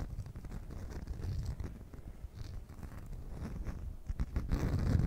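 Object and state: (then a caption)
Beeswax food wrap. A beeswax cloth food wrap is held at an angle while long nails scratch and tap across its surface and edges. The result is an uneven run of soft, muffled crinkling scratches and light taps, heavy in the low end, growing louder toward the end.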